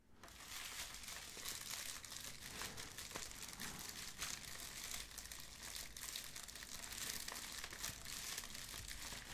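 A medium-size white padded plastic bubble mailer with a dimpled, bubble-textured surface, hollow and flexible, is held in both hands while fingertips grip and rub it and the envelope is flexed and shaken. It gives a steady, bright, quiet crinkling for the whole clip, with small crisp crackles scattered throughout.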